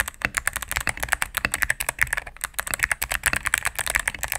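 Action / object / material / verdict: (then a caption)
tap / mechanical keyboard with plastic keycaps and plastic case / plastic / none. A cream full-size mechanical keyboard with plastic keycaps on a solid plastic case is typed on rapidly with fingertips and medium-length nails. About two dozen quick key presses sound as sharp, dry clacks centered near 2 kHz, with a bright ticking edge, little low end and almost no ring after each stroke.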